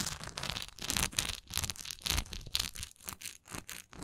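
Long nails tap and scratch the textured side of a large, solid wax pillar candle with a raised swirl relief. The result is a quick run of bright, crinkly scratching strokes broken up by dull taps, with most of the energy in the high range and little low end.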